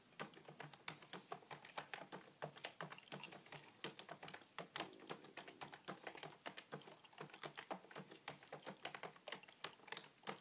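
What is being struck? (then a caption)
Plastic computer keyboard. Fingertips type steadily on a beige full-size plastic computer keyboard resting on a wooden table. Some fifty quiet, crisp, bright key clicks and taps come in a quick, uneven patter with almost no low end. Each click stops dead with no ring.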